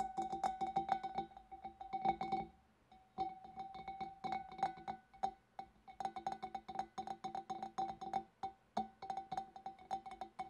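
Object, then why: Glass fish bowl. Long nails tap quickly on the front of a large, empty, hollow clear glass fish bowl's bulb and then along its wavy glass rim. The result is a steady run of light, clicky taps, each carrying a short glassy ring around 780 Hz with bright overtones. The tapping pauses briefly twice before continuing.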